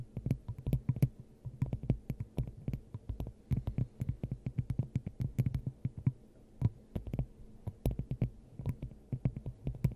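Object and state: Glass dome tapped with nails.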